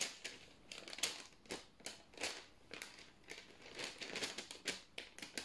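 A single thin white sheet of parchment baking paper is held in both hands, bent and rubbed between the fingertips. It makes a quiet run of short, bright crinkles and crackles, with almost no low end and each burst fading quickly.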